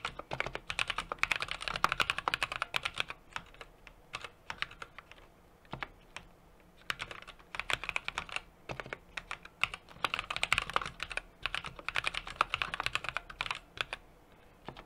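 Fingertips type continuously on a small 60% mechanical keyboard with an aluminum case, brass plate and plastic keycaps. Bursts of fast, sharp, bright clacks with almost no ring come in waves, separated by short pauses of lighter taps and near silence.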